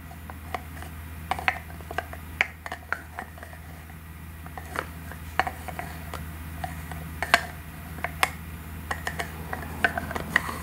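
Long nails open, close and tap the shell of a hollow gold-colored plastic egg-shaped cosmetic container. Sharp, bright clicks and light taps come at irregular intervals, each dying away almost instantly, over a quiet steady low hum.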